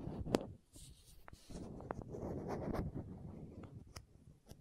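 Long nails scratch a small, hollow green and white plastic contact lens case held near the microphone and twist its screw lids. Quiet, uneven scratching and rubbing are broken by short, sharp clicks and ticks that end without ringing.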